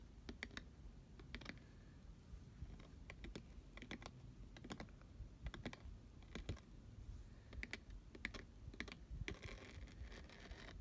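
Both hands tap and scratch with fingertips and nails on the glittery sides of a hollow, medium-sized pink glitter-coated cardboard box shaped like a cupcake, with a fluffy fabric lid. Quick, dry clicking taps come in irregular clusters, mixed with brief bright scratchy rasps over a soft low rumble. Each tap dies away almost instantly.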